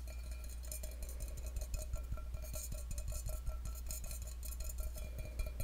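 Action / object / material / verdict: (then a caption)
tap / stainless steel cup / stainless steel / none. Fingertips and nails tap the side of an empty stainless steel tumbler held over the microphone. Quick, light, bright metallic clicks come in an irregular stream over a steady low hum, each with a faint ringing tone near 600 Hz that fades within about half a second.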